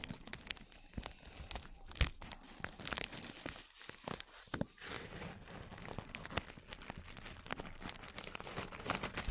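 A small brush strokes clear plastic cling film stretched over the microphone. It produces dense, quiet brushing, scratching and crinkling with sharp bright crackles throughout and a soft low rumble underneath.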